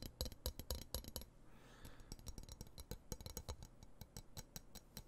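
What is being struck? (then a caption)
Steel knife blade. Fingertips tap and scratch along the solid steel blade of a dark metal knife held near the microphone. Quick, dry taps with bright clicks over a low thud come in uneven bursts, with a softer scratching stretch in between. Each tap dies away almost at once.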